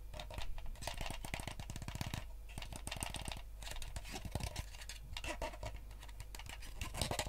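Fingernails scratch and tap the shell of a yellow, hollow plastic gamepad, turned to show its translucent back. Rapid, dry clicking taps mix with bright scratching over a steady low hum, each tap dying away almost instantly.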